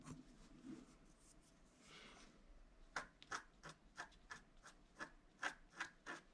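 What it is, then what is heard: Scratch-art card (wax-coated paper). A wooden stylus scratches fine lines into the centre of a flat scratch-art card of wax-coated paper. Soft rubbing and a longer hissy scrape give way to a quick, uneven series of short, sharp scratches, each with a thin bright edge around 1.5 kHz and almost no low end.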